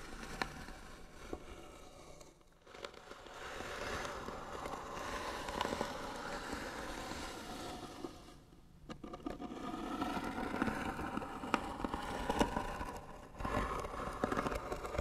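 Short nails scratch the lid of a hollow white wooden box, making a dry, rasping scrape centered in the midrange with scattered sharp clicks. The scratching comes in long, steady strokes that swell and fade, with brief quiet breaks near 2.5 and 8.5 seconds before it picks up again.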